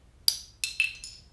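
A cheap costume wedding ring, thrown down as a prop, lands and bounces with four quick, bright, high-pitched clicks that die away almost at once. It is too cheap to ring like metal and sounds like plastic rather than real jewelry.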